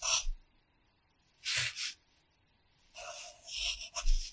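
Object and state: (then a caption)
Pencil writing on a paper notebook page. A red wooden pencil writes in the grid boxes of an open paper practice notebook lying flat. The pencil scratches across the paper in several short, bright, raspy bursts separated by silent pauses, with the last strokes coming closer together.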